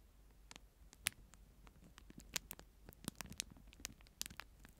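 A clear plastic disposable spoon in a thin plastic wrapper is held in one hand and scratched and crinkled with the fingertips close to the mic. The result is a quiet, bright, dry patter of sharp crackles and ticks that cut off instantly, scattered unevenly over a faint hiss.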